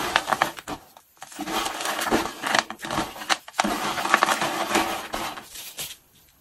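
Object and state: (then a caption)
Dry, brittle soap shavings being crushed. Hands in pink rubber gloves crush, squeeze and rub small, dry, brittle pink and blue soap flakes and cubes cut from Duru 1+1 ocean and grapefruit bars, then press them flat against a beige surface. The result is dense, crisp crunching and crackling, bright and dry with almost no low end, in bursts separated by brief quiet pauses.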